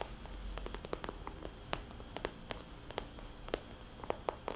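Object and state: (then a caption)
Vinyl cosmetics bag. Fingernails on both hands tap a small, glossy red polka-dot vinyl cosmetics bag. The result is a quick run of soft, hollow clicks and ticks that die away almost instantly, over a low, steady background hum.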